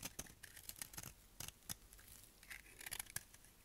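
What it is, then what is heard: Dry soap bar shaved with a blade. A solid, dry tan soap bar held in the hand is shaved with a utility knife blade. The result is a quiet run of quick, crisp scraping strokes with a bright, papery crackle and short clicks that stop almost instantly.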